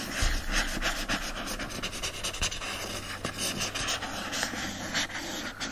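Steady, irregular rasping with no ringing, just short broad scratches rich in hiss. Fingernails drag over the paper-covered boards and raised lettering of a hardcover book, giving a dry, papery texture with a faint low thump from the held book.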